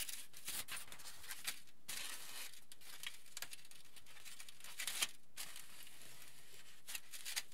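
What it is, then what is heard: Aluminium foil sheet. A flat, crinkled sheet of aluminium foil is rubbed, patted and crinkled by both hands with the fingertips. The result is quiet, bright crackling and rustling in irregular bursts with short pauses between them.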